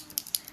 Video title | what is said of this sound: Live maquillage | vous entendez la petite bille